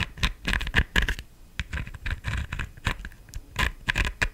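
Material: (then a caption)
Plastic. Long nails tap and scratch the stem and top of a black, glittered, hollow plastic decorative pumpkin. Quick, dry taps mix with scratchy, crackling strokes, each sound short with almost no ring and a faint hollow thump underneath.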